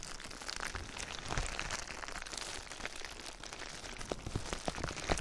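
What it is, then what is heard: Plastic bubble wrap. Clear plastic bubble wrap laid over a binaural ear microphone is rubbed and pressed with fingertips. It makes a steady, dense crinkling and crackling with scattered sharp little snaps and a low rumbling underneath, with a few brighter clicks near the end.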